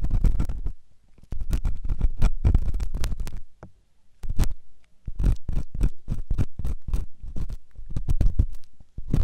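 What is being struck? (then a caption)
Silicone microphone ear scraped by a metal ear pick. A metal ear pick scratches inside the ear canal of a white solid silicone ear on a binaural microphone. It makes a rapid run of dull, low scraping and rumbling strokes with short pauses between bursts.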